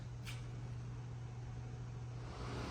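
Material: Nothing is struck.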